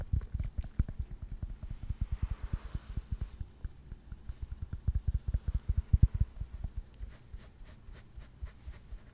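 A yellow tennis ball with a hollow rubber core and felt cover is held close to a microphone and tapped and scratched with fingertips and nails. About two dozen quick, dull, deep thumps follow one another steadily, each dying away almost instantly. Faint, soft scratching rustles sit between them, with brighter scratchy bursts toward the end.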